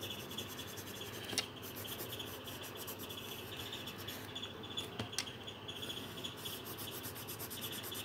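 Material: Paper.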